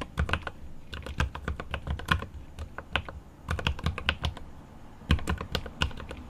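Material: Plastic.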